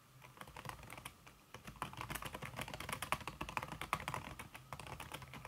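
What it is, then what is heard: Keyboard keys under a silicone cover, typing. Fingertips with painted nails type quickly on a slim backlit aluminum keyboard whose keys are covered by a red silicone skin. The keystrokes are soft, muffled clicks, and the rapid, steady rhythm pauses briefly around the 1.5-second mark.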